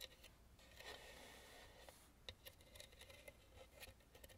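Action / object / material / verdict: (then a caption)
scrape / carved wooden mask / wood / none. Long nails tap and scratch on the face and mouth area of a red painted, hollow carved wooden mask. A soft, bright scraping rasp fills the first two seconds, followed by a run of quiet, sharp taps mixed with light scratches.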